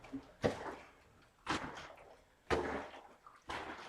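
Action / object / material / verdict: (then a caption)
shake / plastic jug with water / water / partly full. A plastic water jug about two-thirds full is shaken hard during diagonal punches, making the water slosh noisily inside like a washing machine. Four strong sloshing surges land about a second apart, each a sharp splashy onset that washes off over the following half second.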